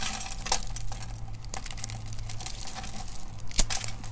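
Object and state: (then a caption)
Dry, brittle soap flakes. Brittle purple and black dry soap flakes are squeezed and crushed in the hand and between the fingertips over a black surface. Dry crackling and crunching with quick bright snaps rides over a low steady hum, with sharper cracks standing out near the start and near the end.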